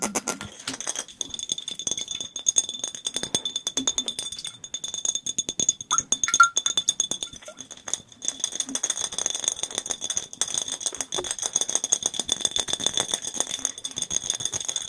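A clear, hollow, nearly empty glass bottle is held in both hands near the microphones and tapped very rapidly with the fingertips and nails. The result is a dense, continuous stream of short, bright clicks and ticks that barely ring, with a faint glassy tone around 1.4 kHz and steady high ringing bands throughout.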